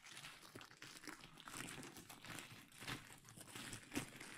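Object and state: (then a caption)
Plastic bubble wrap being crinkled and popped. A large clear plastic bubble wrap sheet draped over the microphone is pinched by fingertips near the top, popping the bubbles. Dense crinkling and rustling runs throughout, broken by sharp, bright pops, with the loudest snap coming near the end.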